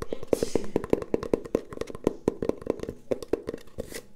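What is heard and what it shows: Long painted nails tap and scratch along a long, brown, hollow cardboard tube held horizontally. A fast run of short, dry, hollow taps with a mid-pitched resonant tone is heard, with bright scratchy hiss near the start and end.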